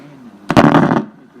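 While the restored HMV 475 valve radio is playing quietly, tapping one of its IF amplifier vacuum tubes sets off a burst of loud crackling and popping through the set for about half a second before it settles back. The crackle comes from a loose tube, and reseating it fixed the fault.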